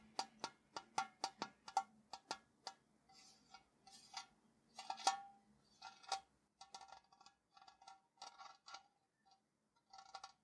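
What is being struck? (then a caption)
Metal tea tin. A tall, hollow printed metal Ceylon tea tin, held on its side in one hand, is tapped on top with fingertips and nails. Quick, sharp taps come in a steady rhythm at first, then turn into looser, faster clusters of tapping and scratching. Each tap gives a short, hollow metallic ping around 780 Hz with bright clicky edges.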